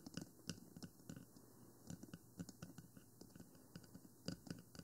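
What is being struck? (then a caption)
Plastic binaural microphone housing. Long nails tap the top and side of a 3Dio Free Space, a small, hollow black plastic binaural microphone with silicone ears. The result is an irregular series of quiet, sharp clicks with a low hollow body and bright edges, each dying away almost instantly.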